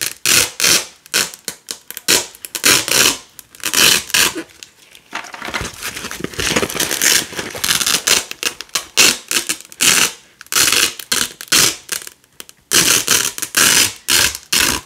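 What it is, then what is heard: Nylon hook-and-loop (velcro) strips. White and red nylon hook-and-loop (velcro) strips are pulled by hand from a black loop panel, making repeated bright, crackly ripping sounds. Short tearing bursts alternate with a few longer, steadier rips, all concentrated in the high frequencies with almost no low end.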